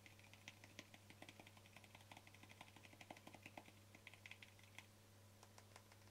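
A small, hollow white plastic cosmetic cream jar with a green label is held in both hands while fingertips and short nails tap its sides and lid. Quick, bright, clicky taps come in irregular bursts, each dying away almost at once, over a steady low hum.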